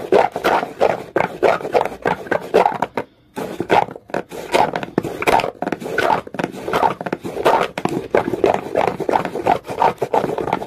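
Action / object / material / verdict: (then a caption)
scrape / rough stone scraped with a comb / stone / none. A comb is pressed and scraped quickly across the textured surface of a dark, rough, solid rock. It makes a steady run of short, dry, rasping strokes centered in the midrange, with little bass. There is a brief pause near the three-second mark before the fast scraping resumes.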